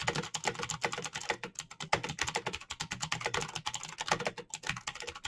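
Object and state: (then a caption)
Plastic mechanical keyboard. Fingertips type rapidly on the keycaps of a black plastic mechanical keyboard with clicky green switches. The result is a dense, fast stream of sharp, bright clicks with almost no ring, with about 39 keystrokes in just over five seconds.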